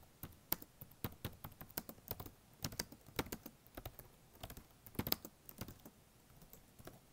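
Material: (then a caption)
Plastic. Fingertips type quickly across the black plastic keys of a blue HP notebook laptop, making a rapid, uneven stream of short, dry clicks. Each keystroke has a soft low thud under a bright tap and dies away almost at once.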